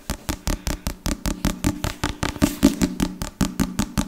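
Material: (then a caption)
Leather. A solid black leather or leatherette covered hardback book, about Bible size, is held in both hands while fingertips and nails tap and scratch its cover. About 21 quick, dry taps come in a fast, slightly uneven rhythm, each a short muted thud with a brief bright scratchy edge that dies away almost at once.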